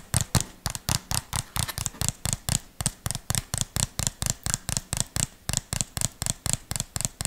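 Fingertips and nails tap and scratch the sides and lid of a small, hollow white plastic tub or jar with a red label, held close to the mic. About 30 quick, dry taps come in a steady, rapid rhythm, each pairing a hollow low thump with a bright click that dies away almost instantly.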